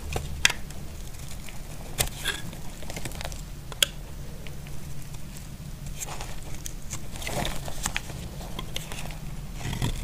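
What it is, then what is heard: Dry bar soap being scraped. A utility blade scrapes shavings off a solid, dry brown bar of soap, making soft crackling, patter-like scrapes with brief sharp clicks over a steady low hum. The scraping comes in short, bright bursts with almost no ring.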